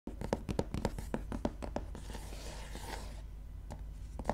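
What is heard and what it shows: Long manicured nails and fingertips tap and scratch the paper cover of a medium gray softcover book lying flat on blue fabric. A quick run of short, dry taps is followed by a steady, bright scratching stroke, then a few more taps, all over a low steady hum.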